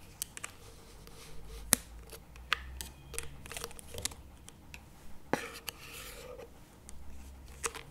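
Two wooden chopstick tips tap both sides of a small plastic chocolate spread tub lying on its side on a table, with its lid facing forward. Sharp, dry, hollow plastic clicks land at an irregular pace and die away almost instantly. Faint scratchy rustles and a low background hum sit between them.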